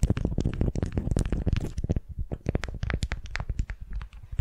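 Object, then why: Beeswax-coated cotton wrap over a wooden ball. A candy-shaped wrap of beeswax-coated cotton, wrapped around a wooden sphere and held in both hands, is gripped and scratched with long nails. For the first two seconds it makes a dense, crinkly scratching, which then thins into sparser, separate crackles and taps. The sound is low and muffled, with little high-end sparkle.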